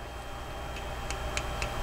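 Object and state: Hollow, tinny watch case with a rattling movement.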